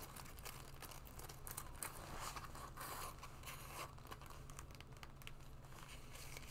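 Long nails and fingertips scratch and rub a black leather jacket being worn, moving over the shoulders, lapels and sleeve. Soft, crinkly scraping and brushing strokes rise and fall irregularly over a steady low hum, with brighter, sharper scratches standing out at moments.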